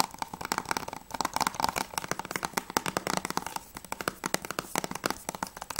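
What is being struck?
Plastic game case.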